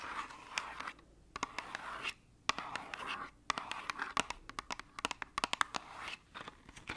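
Long acrylic nails scratch and tap the sides and edges of a small, hollow, white cardboard medicine box held upright. Bursts of dry, papery scratching alternate with short pauses, punctuated by many sharp, bright clicks from the taps. The sound is light and close, with no low rumble and almost no ring after each tap.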